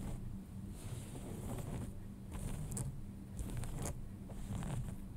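Fingernails scratch the front of folded light-wash denim jeans lying flat, just below the pocket. Repeated soft, bright scratching strokes rise and fall over a low steady hum.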